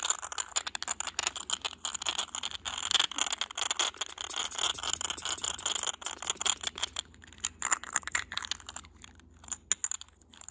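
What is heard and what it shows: Fingertips and short nails tap and scratch the raised surface of a small, hollow, cylindrical white glazed textured glass vase with a grey geometric print, held in the hand. The result is a dense run of bright, crisp clicks and scratchy rasps, high-pitched and dying away almost instantly. The activity thins out near the end, leaving a few sharper isolated taps.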